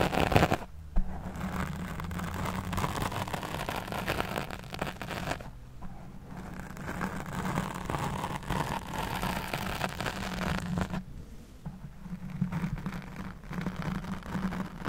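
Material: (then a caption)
Foam. Long nails scratch and squeeze the black foam windscreen over a studio microphone, producing a continuous rough, crackling rustle with a heavy low-end rumble. The sound holds steady, with brief quieter dips and a few sharper scrapes.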